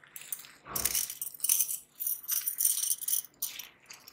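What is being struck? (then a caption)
Thin metal bangles. A small stack of thin, solid metal bangles is held between blue-gloved fingers near the microphone and shaken so the rings jingle against each other, with more bangles worn on both wrists. The result is bursts of bright, high, shimmering metallic jingling that stop and start, with almost no low end and short ringing tails.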